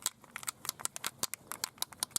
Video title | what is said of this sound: Episode 8: MOT Work on the Car | you gotta shake it till you can't hear the clicking anymore